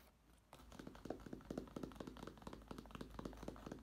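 A black nylon fabric-covered case, held upright and tilted, is tapped and knocked with fingertips and nails on its fabric-covered panel. After about half a second of near silence, a quick, irregular run of soft, dull knocks begins, each muffled and damped, with little brightness. The knocks continue steadily to the end of the clip.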